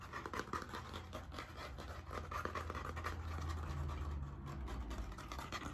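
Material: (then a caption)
Cardboard. A blue spiral-bound hardcover notebook with a stiff cardboard cover is held in both hands while its cover is scratched and tapped with nails. Fast, irregular scratching and dry tapping blend into a steady, quiet, low-heavy rustle with short, quickly fading taps throughout.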